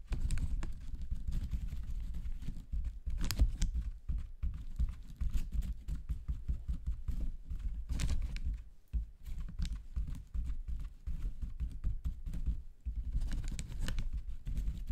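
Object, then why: Paper toilet rolls in plastic wrap. Fingertips tap slowly on a pack of paper toilet rolls in clear plastic wrap. The taps make soft, dull, low thumps that die away almost at once, with occasional bright crinkles from the plastic.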